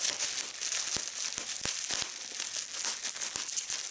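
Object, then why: Plastic bubble wrap. Fingers with long red nails pinch and squeeze bubbles in a held fold of clear polyethylene bubble wrap, with a crumpled section below. The plastic gives a steady bright crinkling broken by sharp, quick pops that die away almost instantly.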